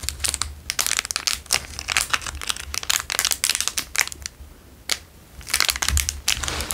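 A square clear plastic wrapper is crinkled in the hands, then pressed with fingertips on a table. Dense, bright crackles and snaps come in bursts, ease into a quieter stretch, and then return in another flurry of sharp crinkling.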